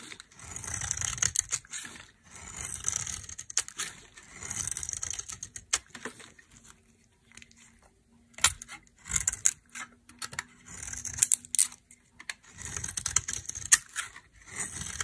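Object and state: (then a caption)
Dry soap bar being carved. A knife carves long thin strands from a dry, solid cream-colored soap bar with a reddish edge, making bright, crisp scraping and crackling bursts. The strokes come in repeated runs of a second or two, with short pauses between them and a quieter stretch with a faint low hum near the middle.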